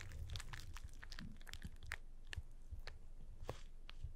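Fingertips press and tap on the top face of a small, hollow, closed cardboard box with a paper label marked "PURE WHITE" and arrows. The result is quiet, irregular, dry crinkling and crunchy clicks with bright ticks over a low, dull thump, each sound dying away almost instantly.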